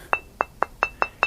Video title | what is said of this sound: 38 Stone Tools 1 v1 | has a nice ring to it